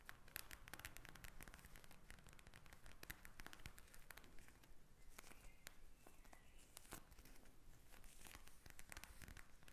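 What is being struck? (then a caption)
Plastic gel-bead eye mask. Long nails scratch and tap a pink gel-bead plastic eye mask lying flat, producing a steady stream of quiet, crackly clicks and rasping scratches. The sharp, short taps come in dense irregular bursts throughout.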